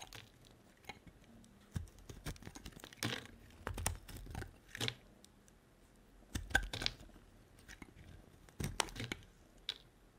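A solid white bar of soap with a red rim is held in the hand and shaved with a utility-knife blade into curled chips. Short bursts of crisp, dry scraping and crackling come in uneven clusters with quiet gaps between them, bright and crinkly with a soft low thud under each stroke.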